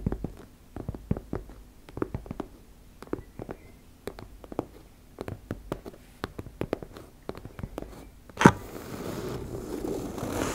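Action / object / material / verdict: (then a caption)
scrape / fabric cosmetic pouch / fabric / none. Long nails scratch and tap across a teal embossed-fabric makeup bag, making a quiet series of short, crisp scratches and clicks. Near the end there is a sharper, louder scrape, followed by a steady, rougher rasping as the nails drag along the zipper edge.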